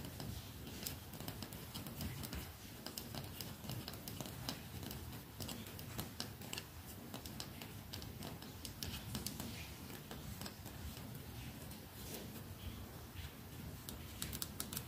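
Long nails tap the wooden sides and back of a red lacquered, solid wooden hairbrush held in the hand. The result is a steady stream of quiet, dry, bright clicks and ticks with almost no ring, over a soft low rumble.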